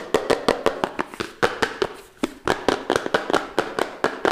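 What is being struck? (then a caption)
Small cardboard box. A small, hollow, red printed cardboard phone box is held upright in both hands while fingertips and nails tap and scratch its sides fast. About 22 sharp, dry taps land in quick succession, each with a hollow tone around 400 Hz, a short bright crackle and almost no ring, with faint scratching between them.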